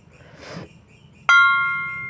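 A Kedhung Bantheng keprak metal plate is struck once, giving a bright metallic ring with a clear tone near 1.4 kHz after a faint soft rustle. The ring fades fairly quickly, so the sustain is too short and not long enough.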